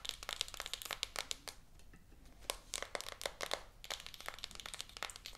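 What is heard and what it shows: Long acrylic nails tap and scratch the back of a small, rigid, shrink-wrapped cardboard iPhone 14 Pro 256 box lying flat and full. The result is rapid bright clicks and crinkly plastic scratches in dense bursts, with a quieter, softer scratching stretch in the middle.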